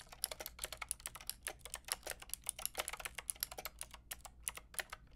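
Long painted nails and fingertips type quickly on a white-pink backlit mechanical keyboard with round plastic keycaps. The result is a steady stream of short, bright, crisp clicks and clacks, each dying out almost instantly.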